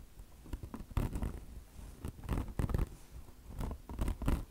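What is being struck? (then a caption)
Mesh-covered foam sponge. Long blue nails scratch the coarse polyester mesh of a bone-shaped microfiber car wash sponge with soft foam underneath and a chenille fringe. The result is irregular bursts of dry, rasping scratches with a dull, low-weighted body and no ring after each stroke.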